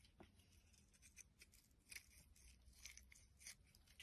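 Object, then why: Bar of soap scraped with a metal blade. A solid white bar of soap, held in the hand, is carved and scraped with a metal blade into flakes and slivers. Quiet, crisp, bright scraping strokes come in an irregular series of short bursts over a faint low rumble.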